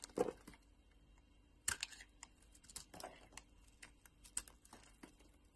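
A solid pink bar of soap held in the palm is scraped and sliced with a metal utility blade, curling off thin shavings. Quiet, crisp scraping and slicing sounds come in irregular bursts, with a louder, lower rasp at the start and brief bright cuts after, each dying away almost at once.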